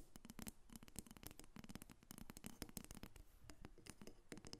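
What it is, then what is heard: Carved wooden figurine tapped with nails. A solid carved dark wood dolphin figurine, about 30 cm long, rests on a glass table and is tapped and scratched with long red acrylic nails. The result is a quiet, rapid, uneven run of dry, sharp clicks that die out almost instantly, mixed with brief scratchy rasps.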